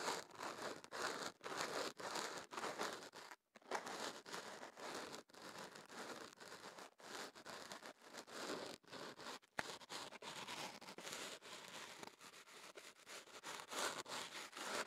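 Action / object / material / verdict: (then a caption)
scrape / kenaf paper wrapped around a microphone / paper / none. Kenaf paper wrapped around a microphone is held in both hands while a small pick or fingertips rub and scratch the paper at the tube opening. It makes close, dense crinkling and scratching that is bright and broadband with almost no low end, broken by quick rhythmic strokes and a few brief silent gaps.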